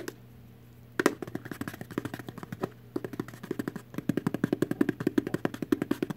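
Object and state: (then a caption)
Empty cardboard candy box. Long artificial nails tap rapidly on an empty little cardboard Warheads candy box. After a second of quiet, bursts of dry, hollow clicks with a mid-low knock come in quick runs, separated by short pauses. Each tap dies away almost instantly, with no ring.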